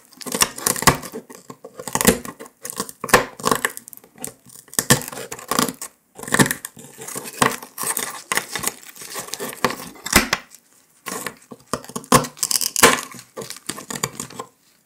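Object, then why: Brittle sugar candy disc scratched with a metal needle. A metal needle scratches a brittle brown dalgona honeycomb sugar candy disc resting on paper, while outer pieces break off and lie nearby. Dense bursts of bright, dry scraping and crackling mix with sharp little snaps and clicks that die away quickly, with a short pause before the scratching resumes.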